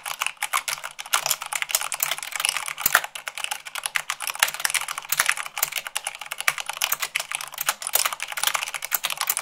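Long pink nails and fingertips type fast, at about 98 words per minute, on a full-size mechanical keyboard with white plastic keycaps on a black frame. A dense, steady stream of sharp, bright plastic clacks follows, each dying almost instantly, with little low end.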